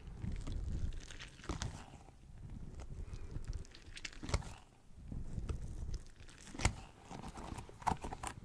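A small pink squishy rubber pineapple toy is squeezed in the hand and tapped with fingertips close to the mic. Soft, low, muffled squishing and sticky crinkling fill the clip, broken by a few sharper, brighter taps.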